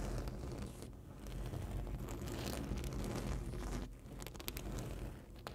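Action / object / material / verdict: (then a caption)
scrape / printed foam board sign edge / foam board / none. Long nails scratch along the top edge of a large printed rigid foam board sign. The result is a continuous scraping, crinkly texture over a steady low rumble, with a brief dip near the four-second mark and a few sharp, bright ticks toward the end.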